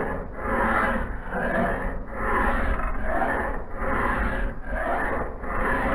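A solid steel axe head, held in a vise on a blue cloth, is filed by hand along its blade bevel with a hand file. Repeated rasping, scraping strokes swell and fade in a steady rhythm, with a gritty midrange texture over a low rumble.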